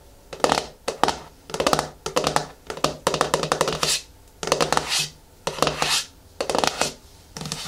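Long nails tap and scratch the flat top of the screw lid on a medium yellow-and-white Garnier Fructis plastic hair-mask jar standing on a wooden table. Bursts of rapid, crisp clicking and scraping come in short clusters separated by quiet gaps. The sound is bright and dry, with almost no ring after each hit.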